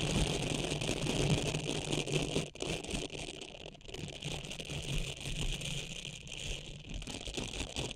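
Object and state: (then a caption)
Silicone cleansing pad scratched with nails. Long nails scratch along the textured nubs of a small, flat blue silicone facial cleansing pad held over the microphone. The result is a dense, continuous scratchy rattle with bright crackling on top and a steady low hum underneath. A brief dip in level near the middle interrupts an otherwise even texture.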